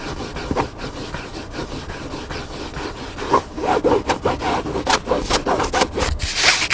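Fingertips and nails scratch the cover and black spine of a hardcover book lying flat. A soft, steady rasping fills the first few seconds, then gives way to louder, quicker back-and-forth strokes with a bright, hissy edge that swells near the end.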